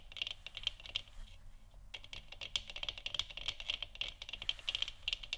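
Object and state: Plastic moon lamp.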